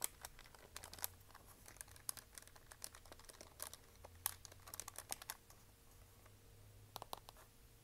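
A plastic desk calculator is turned in the hands while long nails tap and scratch its keys and hollow plastic back. Quick, bright clicks and scratchy ticks come in irregular bursts over a faint low hum.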